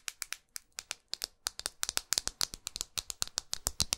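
Long acrylic nails tap and scratch a small red pyramid-studded glass perfume bottle held in the hand, working over the studded glass and its edges. About 26 quick, sharp, bright clicks come with faint scraping between them, each dying away almost instantly with almost no low end.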